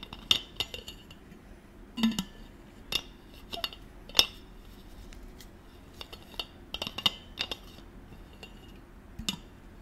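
Fingers screw a silver metal cap on and off the threaded neck of a gold stainless-steel water bottle. Sharp, bright metallic clicks and clinks ring around 3.5 kHz, scattered irregularly over a faint low hum. Each click dies away almost at once.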